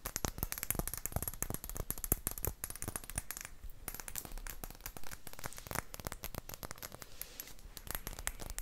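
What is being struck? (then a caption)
Small round glass bottle with cork stopper. Long acrylic nails tap rapidly on a clear, round glass potion flask with a cork stopper, hollow and empty. The result is a dense, continuous stream of light, clicky taps with very short ring and a faint bright glassy edge, holding a steady soft level throughout.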